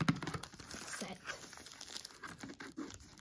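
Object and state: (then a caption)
Plastic container lid with paper label, scratched and tapped. Long nails scratch and tap a paper label covered in plastic wrap on the green plastic lid of a PRUTA food container. The result is a quick run of soft, crinkly scratches and light taps.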